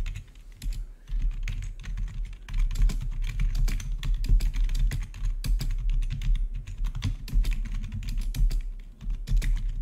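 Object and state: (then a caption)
Plastic keyboard being typed on. Fingertips of both hands type rapidly on the keycaps of a full-size black plastic membrane-style gaming keyboard with blue-to-red backlit keys. The result is a dense, continuous stream of short, dull keystroke taps with a heavy low thump and brief bright clicks on top, each dying away almost at once.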